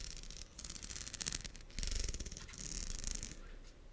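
Long acrylic nails scratch and strum along the teeth of a pink, hand-sized, solid plastic wide-tooth comb. The result is bursts of rapid, bright, raspy clicking, like a fast ratchet, over a low rumble, swelling and fading in uneven waves.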